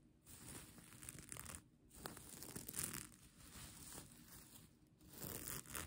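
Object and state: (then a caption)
Plastic sequin blanket. Long nails and fingertips scratch and rub across the plastic sequins of a bunched-up sequin blanket. The result is a dense, crackling, tearing-like rustle with a low rumble and bright hiss, coming in uneven bursts separated by short, quieter pauses.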